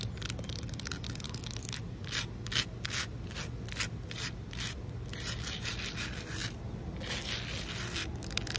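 Fingertips rub and fingernails scratch across flat, solid outdoor concrete pavement. Repeated gritty, sanding-like strokes come in bright bursts at an uneven pace over a steady low rumble.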